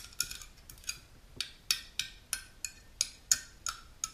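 Long natural nails with pink polish tap and scratch the metal top and rim of a small unopened aluminum aloe vera juice can held in both hands. About a dozen sharp, bright clicks come at uneven intervals, each dying away almost instantly. Between them there is faint scratchy rustle, and almost no low end.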